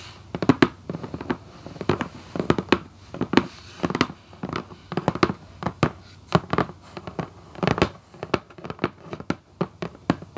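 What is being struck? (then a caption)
Cardboard shoebox lid. Long acrylic nails on both hands tap and lightly scratch the top of a red Vans cardboard shoebox lid on a hollow box. Quick, dry, hollow clicks land in uneven clusters with soft scratching between them. Each tap dies away almost at once.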